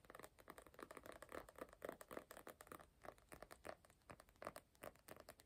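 A small closed hardcover notebook of glossy cardboard, with a glossy printed Star Wars comic cover, is held in both hands and tapped and scratched on the cover with fingertips and nails. The result is a quick, uneven stream of light, dry taps mixed with soft scratchy rustling, sitting mostly in the midrange with little low end.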